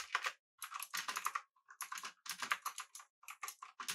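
Both hands type with their fingertips on a full-size, backlit, typewriter-style mechanical keyboard with blue switches, an aluminum body and round plastic keycaps. Rapid, clicky keystrokes come in bursts separated by short silent pauses. Each click is sharp and bright, centered around 1.2 kHz, with crisp high-end snap and almost no low end.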